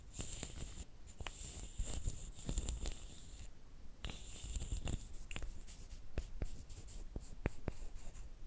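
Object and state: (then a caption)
Wooden sticks rubbed together. Two thin, flat, light, solid wooden sticks, each about a hand's length, are rubbed against each other. The result is a quiet, dry, scratchy rubbing over a low rumble, with bright hissing streaks and sharp little clicks that die away at once.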